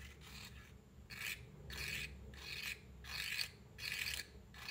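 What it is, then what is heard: Cardboard matchbox. A wooden matchstick is scratched along the rough striker strip of a small cardboard matchbox held in one hand. About six bright, rasping strokes come at a steady, unhurried pace over a faint low hum.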